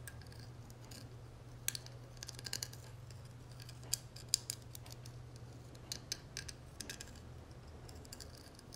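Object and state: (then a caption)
Metal cigarette case tapped and scratched with nails. Long nails tap and scratch the dotted gold metal texture on the inside lid of a small, hollow gold metal cigarette case lying open on a marble surface. Quiet, bright metallic clicks and faint scratches come in scattered bursts. A steady low hum runs underneath.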